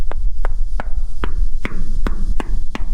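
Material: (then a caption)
Sheet metal. Knocks on the metal wall of a grain bin with corn inside, working lower down the side, where the sound turns from hollow to hard and solid. Eight short, dull knocks ring out over a steady low hum, showing the lower section of the bin is full of corn.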